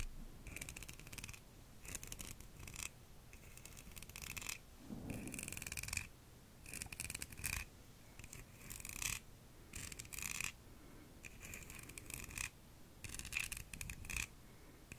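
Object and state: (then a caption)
Scallop seashell. Long nails scratch and tap along the ribbed outer surface of a palm-sized, empty, hollow scallop shell held in one hand. Short bursts of bright, dry rasping alternate with quieter gaps, carrying a steady scratchy tone around 2.5 kHz over a soft low rumble.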